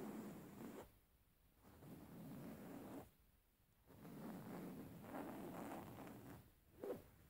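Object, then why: Linen fabric cushion. A plain beige woven linen fabric cushion, held upright, is scratched with the fingernails of both hands. Soft, rough scratching comes in three longer passages separated by quieter pauses, with a brief sharper scrape near the end.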